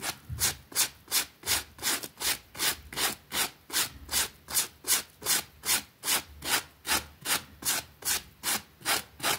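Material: Fabric.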